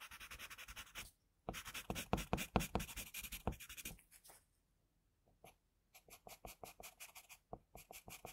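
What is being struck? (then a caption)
Graphite pencil on drawing paper. A pencil scratches and shades across a flat sheet of drawing paper while drawing an eye. Quick, dry, papery strokes come in bursts with short pauses between them, and the last few seconds turn into a steadier run of lighter, evenly spaced strokes.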